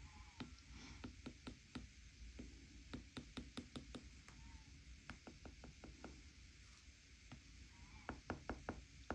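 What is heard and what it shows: A plastic stylus tip taps quickly across many small spots on the glass touchscreen of an iPad tablet while a hand rests on the edge of the device. Eighteen short, dry clicks come in uneven clusters, each dying away almost at once, over a quiet, steady low hum.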